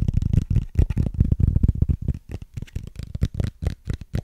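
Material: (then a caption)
Plastic. Fingernails scratch and tap across the ridges of a small, clear, hollow plastic case with a ridged texture. The result is a quick, irregular run of short, dry taps and rasping scrapes with a dull, low body and almost no ring.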